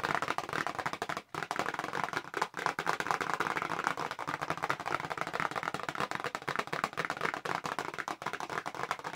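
A small, hollow, pink printed paperboard press-on nail box is held in both hands close up while long pink nails tap fast on its flat back. A continuous stream of rapid, dry, clicky taps with a hollow papery midrange tone and almost no ring is heard, broken only by two brief pauses.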